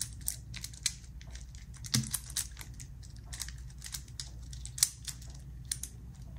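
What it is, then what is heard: Metal infinity cube fidget toy. A small black metal infinity cube fidget toy made of hinged solid blocks is held in both hands over an open zipper case while fingertips fold and flip its segments. This produces a quick, irregular run of sharp, bright clicking knocks that die away almost instantly, with a few louder snaps standing out over a low, steady background hum.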